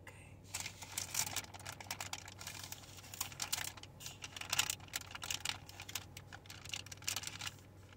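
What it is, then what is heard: Soft plastic wet-wipes pack. A full soft plastic pouch of baby wet wipes with a white plastic flip lid is held in both hands and tapped and crinkled with long painted fingernails. Quick, crisp, bright clicks and rustling crinkles come in irregular bursts over a faint low steady hum.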